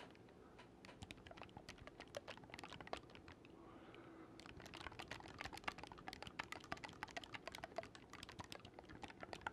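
An assembled black wooden oboe with silver metal keywork, about 60 cm long and hollow, is held across the mic while fingertips rapidly click the metal keys against the body. Many dense, dry, bright clicks with almost no ring patter steadily over a faint hiss, pausing briefly in the middle before resuming.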